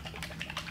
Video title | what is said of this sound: DWV Glue for Plumbing Pipe | i take this regular and i shake it here can you hear how liquidy that is versus your heavy